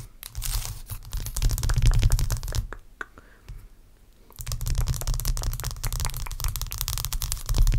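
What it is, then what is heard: Block of ice tapped and scratched with fingernails. Long acrylic nails tap and scratch a large, clear, solid block of ice with a cloudy core. Rapid, irregular clicks and scrapes sit over a deep, boomy low thump. They fade to a quieter stretch with a few isolated taps near the middle, then return loud and dense until the end.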